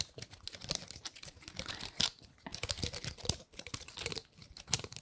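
Long nails scratch and flick the woody scales of a large gold-painted pine cone held close to the microphone. Quick, dry crackling clicks and scratchy rustles come in dense bursts, bright and high with little low end and almost no ring.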